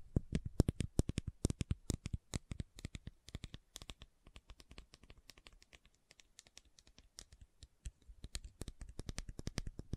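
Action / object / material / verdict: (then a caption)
tap / plastic supplement bottle / plastic / none. Long nails tap and scratch the label and body of a hollow, medium-size white plastic fish oil supplement bottle held in the hands. Dozens of quick, dry, hollow clicks and light scratches follow in steady bursts, briefly softer in the middle before picking up again.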